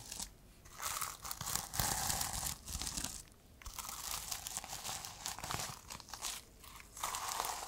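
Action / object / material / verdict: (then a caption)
scrape / notebook with plastic sequin fabric cover / plastic sequins / none. Long nails scratch and flip the plastic sequins on the fabric cover of a reversible sequin notebook as it is turned in the hands. Bright, dense crinkling and scratching rustle comes in bursts separated by brief quieter lulls.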